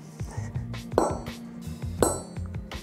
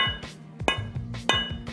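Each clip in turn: First: nodular cast iron kettlebells, bell-like ring. Second: gray cast iron kettlebells, dull hollow sound.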